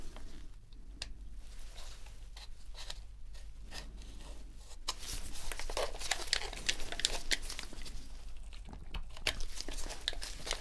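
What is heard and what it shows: A metal dental pick scrapes around the trigger and shoulder-button seams of a dirty, hollow white plastic PS4 controller held upright in gloved hands during a deep clean. Dry, crinkly scratching and bright ticks sound over a steady low hum, growing louder and sharper after about five seconds.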